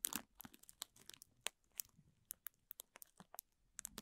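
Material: Plastic.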